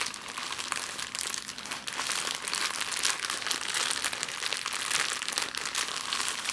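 A small, thin, empty clear plastic bag is crumpled into a ball with both hands, with long nails, on a wooden table. It makes a steady, dense, bright crinkling with many sharp crackles and almost no low end. The sound continues evenly for the whole clip.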